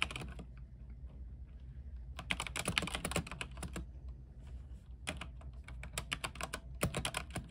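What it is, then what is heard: Mechanical keyboard with plastic keycaps. Fingertips of both hands type on a compact, RGB-lit mechanical keyboard with white plastic keycaps and a silver case. Bursts of short, crisp clacks with a bright top end come in fast runs, with a quieter, sparser stretch in the middle. A steady low hum sits underneath throughout.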